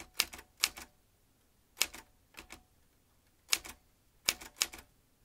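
Fingertips tap the keys of a vintage metal manual typewriter, producing sharp, bright mechanical clacks that come in small clusters separated by short pauses. Each strike is crisp and very short with almost no low end, and faint quiet hiss fills the gaps between them.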